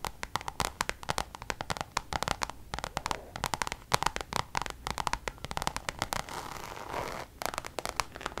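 Long nails tap and scratch the face of a coated-canvas Louis Vuitton designer zip pouch. Dozens of quick, sharp, dry clicks come with a bright, papery texture. Near the end there is a longer continuous scratch before the tapping resumes.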